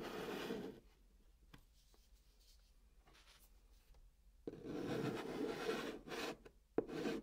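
A hand writes the word "Night" in chalk on the top of a flat brown kraft cardboard box, making dry, raspy scratching strokes. A bright burst of scraping opens the clip, followed by a long near-silent pause with faint ticks, then further bursts of gritty chalk-on-cardboard strokes.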